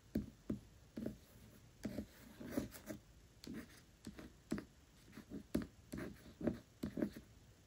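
Long acrylic nails tap and scratch the glossy paper dust jacket of a large, solid hardcover book, Tress of the Emerald Sea, lying flat on a velvet cloth. Quiet, dull, low-mid taps land in an irregular series, each dying away almost instantly. Soft, papery scratching fills the gaps between them.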